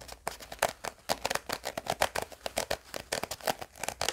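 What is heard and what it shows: A small round pink hard-plastic gum tape case with a ridged edge, held in both hands, is scratched and tapped with fingernails. It gives a rapid, uneven run of short, dry clicks and scrapes with a bright, crisp edge and almost no low end. Each tap dies away almost instantly.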